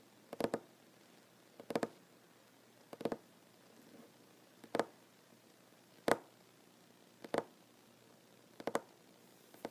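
Short nails, fingertips and occasionally knuckles tap on a large, solid wooden tabletop. About eight clusters of quick, dry, mid-pitched taps arrive roughly every second and a half, each dying away almost at once. Faint quiet fills the gaps between them.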